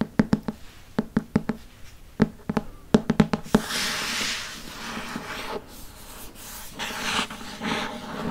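A dark hardcover Harry Potter paper book, held in the hand, has its cover and spine tapped with fingernails in a quick series of short, dry taps with a low hollow thump near 200 Hz. After about 3.5 seconds the fingernails switch to scratching the cover and spine, giving a steady, bright, rough hiss that swells and fades until the end.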